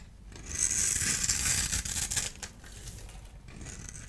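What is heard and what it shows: A solid orange-and-white striped dry bar soap has its crumbly surface rubbed and scraped with fingers and a small blade tool. This gives a bright, hissing scrape that swells after half a second, stays loud with rough, grainy strokes until about 2.5 seconds, then fades to a softer, steady rasp.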